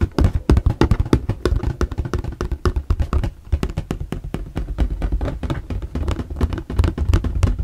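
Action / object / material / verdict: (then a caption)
tap / corrugated plastic storage box / plastic / none. Two hands tap rapidly on the corrugated plastic sides of a shoe storage box. The result is dense, quick, dull knocks with a low, hollow thump and almost no ring or high-frequency content.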